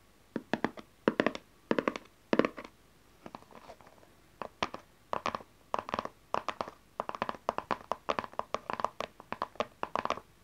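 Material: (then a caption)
Cardboard. Long nails tap and scratch the front and edges of a small, dark, printed cardboard tarot card deck box that stays closed. Quick, dry, hollow clicks come in rapid clusters, with a softer scratchy stretch around the fourth second. A steadier run of crisp taps follows, each dying away almost instantly.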